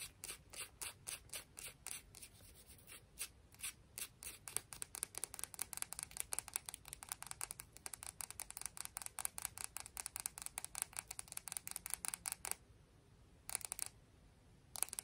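A small, solid, frosted green piece of sea glass held between the fingers is rubbed and scratched with long fingernails. Rapid, bright, crisp scratching strokes are heard, high-pitched and dry with no ring, in a dense run that briefly pauses near the end before a few more strokes.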